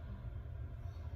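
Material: Nothing is struck.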